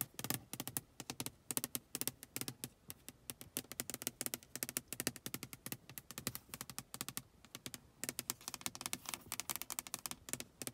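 Long acrylic nails tap and scratch the flat glass pane of a closed car side window, heard from inside with rain droplets on the outside. Rapid, crisp clicking taps come in quick bursts with very short, dry decay and bright high-frequency ticks, and a faint scratching runs between them.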